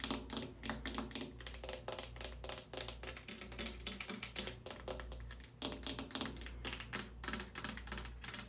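A medium, hollow, partly full plastic Suave shampoo bottle standing on a wire caddy is tapped quickly with long painted nails and fingertips. The result is a dense run of crisp, bright, hollow clicks and taps over a low steady hum.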